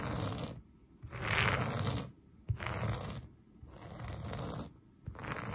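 A black plastic vented hairbrush, held in one hand, is brushed and scratched back and forth across a flat, soft beige-and-brown plush synthetic carpet. Five rough, bright scratching strokes are heard, each separated by a short quiet gap, with a low rumbling texture underneath.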